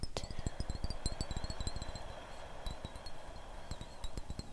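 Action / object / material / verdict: tap / glass perfume bottle with liquid / glass / none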